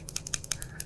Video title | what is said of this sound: Mower Spindles Explained & Differences Between Residential VS Commercial Spindles | you can hear that there's a little bit of slop there